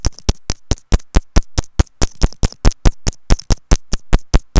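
A white plastic earphone inline remote and mic, held by a loop of its cable, is tapped about 24 times with long nails in an uneven, quick rhythm. Each tap is a short, dry click with a deep, close thump underneath and a bright tick on top, dying away almost instantly.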